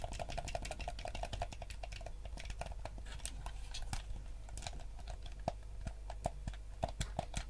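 Fingertips tap and click the buttons of a yellow, hollow plastic gamepad. The result is a quick, irregular stream of small, dry plastic clicks with a faint hollow ring around 700 Hz, over a steady low rumble.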